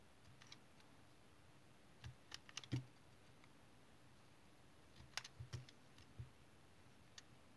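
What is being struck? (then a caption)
Tar soap bar cut with a knife blade. A utility knife blade shaves chips off the side of a solid, elongated brown tar soap bar held in the hand. About a dozen short, crisp scraping clicks come in two loose clusters, each with a soft low thump and a bright snap that dies away almost at once. The cuts are quiet against a faint background hiss.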